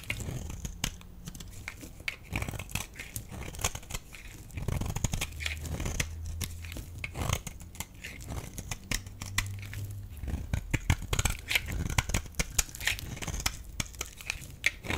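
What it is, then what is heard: Dry bar soap being scraped. A metal blade scrapes a solid, rectangular, dry beige bar of soap, and brittle flakes break off. The result is a dense run of short, crisp crackling and scratching sounds with bright high edges over a low, dull rumble. The sounds are close and quiet, with no ring after each scrape.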